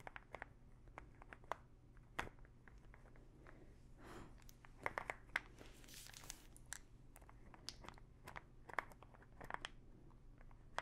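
Long nails scratch and tap the teal cap of a small plastic pill bottle full of pills. Quiet, sharp, bright clicks and taps come irregularly over a soft, scratchy rustle, each tap dying away almost instantly. A steady low hum sits underneath.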